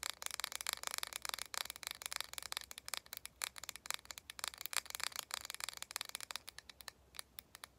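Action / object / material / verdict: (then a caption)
tap / small plastic cosmetic jar with screw lid / plastic / none. Long painted nails tap rapidly on a small, hollow, round lilac plastic cosmetic face mask jar with a screw lid, held in both hands. The taps are quick, dry, bright clicks with almost no ring or low end. They grow sparser and softer toward the end.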